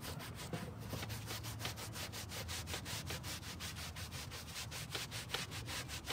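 A gloved hand scrubs the wet pile of a dark grey carpet car floor mat, laid flat on a table, back and forth with a stiff green-bristled hand brush. The result is a steady, fast run of rough, bright scratching strokes over a low rumble, with no pauses between strokes.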